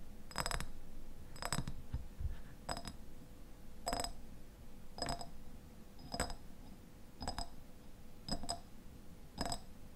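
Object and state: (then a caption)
Glass jam jar tapped with fingernails. Fingernails tap and scratch the sides of a medium, mostly empty clear glass jam jar with a white lid, held in the hands. Short, bright, glassy clicks with a brief high ring come in a steady series about once a second, over a low background rumble.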